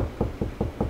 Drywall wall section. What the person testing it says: lower Hollow pitch means there's nothing there